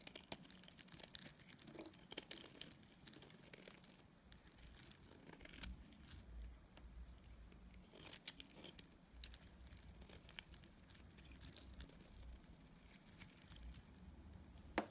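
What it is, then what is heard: Soap bar shaved with a blade. A utility knife blade scrapes and shaves a solid, dried lilac soap block held in the hand. The result is a quiet, continuous run of dry, crinkly scraping and crunchy shaving sounds with bright, crisp edges and a low rumble beneath.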